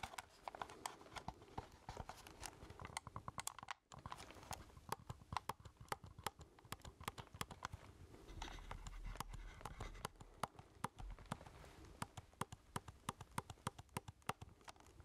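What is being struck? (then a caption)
Plastic keypad game controller. A black plastic keypad game controller with a hollow handheld body is held in one hand while the other hand's fingertips and nails tap its keys and casing. Quick, dry clicks and taps sound in an uneven, rapid stream over a soft background hiss. There is a brief silent gap near four seconds and a slightly fuller rustle partway through.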